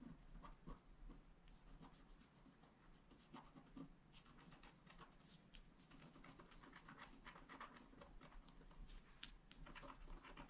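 A wooden stylus scratches leaf details into a flat black scratch art card of wax-coated paper resting on a table. Quiet, continuous run of short, dry scratching strokes with a bright, crackly texture, over a steady low hum throughout.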